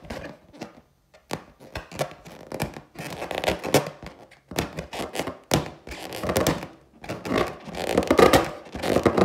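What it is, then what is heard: Inflated latex balloon. Long teal nails tap and scratch close-up on the skin of a large, hollow, inflated clear latex balloon with a gold pineapple print. Irregular sharp taps mix with rubbery scratching bursts, with a hollow midrange body and bright crisp edges. Each sound decays quickly.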